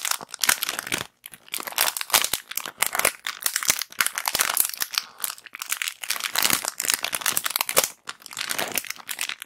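A small clear plastic bag holding white cotton pads is gripped, crinkled and scratched with long black acrylic nails. The result is continuous bright, crisp crinkling and scratching in dense bursts, with brief pauses between them and no low end.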